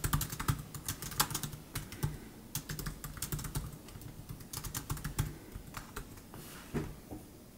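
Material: Plastic.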